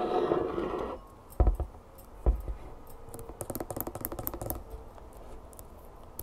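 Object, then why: Plastic squeeze bottle of honey. Long painted nails tap and scratch the label and plastic body of a hollow, mostly full plastic bear bottle of clover honey held in both hands. After a brief low, humming opening, two heavier thuds land, followed by a quick run of light, clicky taps. Soft scratching rustles throughout.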